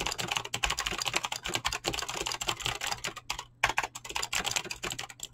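Fingertips type fast on a full-size backlit mechanical keyboard with pink and blue PBT plastic keycaps and clicky green switches. A rapid stream of bright, sharp clicks and clacks runs throughout, with a brief pause just past the midpoint before the typing resumes over a faint low steady hum.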